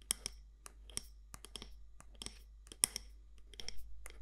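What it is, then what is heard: Candle jar tapped with fingernails. Long nails tap the side walls of a medium matte black candle jar, possibly glass or ceramic, with a gold lid. About sixteen quiet, sharp, bright clicks land at uneven intervals over a low steady hum, each dying out almost instantly with no ring.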